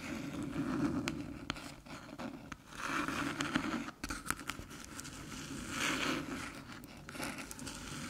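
Long silver nails tap and scratch across the top of a small, flat, hollow silver aluminium USB hub resting on a dark table. Quick, light clicking taps come through over a steady scraping hiss with a low hollow tone, in uneven bursts that fade quickly.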